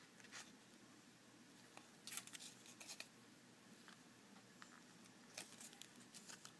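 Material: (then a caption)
Plastic. Fingertips and fingernails tap and squeeze a small retail blister pack: a clear hard plastic blister holding six black ceramic disc magnets on a printed cardboard card. Quiet, sharp, bright plastic clicks and crinkles come in short clusters over a faint steady hiss, with the busiest bursts around the middle and near the end.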